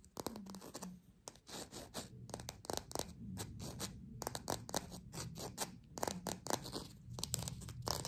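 Long pink nails rapidly tap and scratch the textured peel of a small green fake lime, an artificial plastic fruit. The result is a dense run of quick, dry clicks and scrapes with bright, crisp edges, a low thumpy undertone, and almost no ring after each hit.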